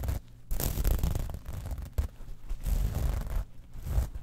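Long nails scratch and tap across the platelets of a small metal mesh clutch wallet lying on a fur rug. The result is a series of dry, zipper-like rasps and soft ticks in uneven bursts, with a muffled, low-heavy tone and very little bright edge.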